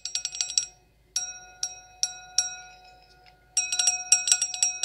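An empty, clear stemmed wine glass with a thin, hollow bowl is tapped with long acrylic nails. A quick flurry of bright clicks comes first, then four spaced taps that each leave a steady, pure ringing tone near 700 Hz with higher overtones. It ends in another rapid burst of tapping over the ringing.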